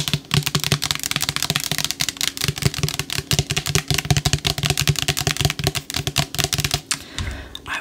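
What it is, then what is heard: Plastic spray bottle tapped with nails. A green-topped plastic spray bottle, partly filled with yellow liquid, is tapped rapidly with long acrylic nails. The result is a dense, steady stream of short, bright clicks over a hollow low body, each dying away almost at once. Near the end the tapping gives way to a softer, lower rustle.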